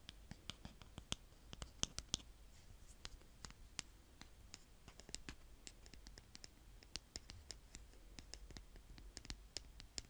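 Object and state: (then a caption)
Kinetic sand scraped with a plastic spade. A small blue plastic toy spade, held by fingertips with long painted nails, is dragged and scraped through a small mound of brown kinetic sand on a tray. The sound is a quiet, crisp scratching with frequent sharp, bright ticks and crunches scattered over a low background hiss.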